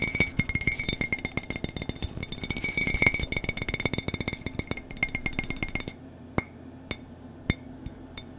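Fingertips and nails tap on the side and rim of an empty-looking white Star Wars ceramic mug with a handle. Rapid, dense clinking taps carry a bright ring near 2.2 kHz for about six seconds. Then a handful of sparse, isolated taps follow in near silence.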